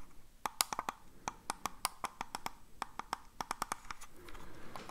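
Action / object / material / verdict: tap / plastic computer mouse / plastic / none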